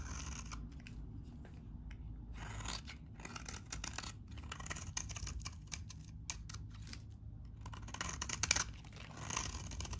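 A metal utility blade scrapes and cuts the edge of a very dry, solid beige-tan vintage bar of soap held in the hand. Bright, crisp scraping and crackling come in quick bursts over a steady low rumble.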